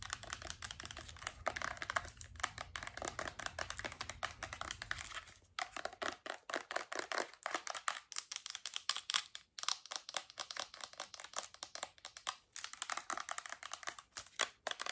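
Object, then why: Plastic lotion bottle. Long acrylic nails tap fast on a medium-size Bath & Body Works lotion bottle, which has a white plastic body and a gold cap and appears full. The result is a dense, rapid stream of sharp, bright clicks with almost no ring, with brief pauses between bursts. A faint low hum sits under the first six seconds, then fades.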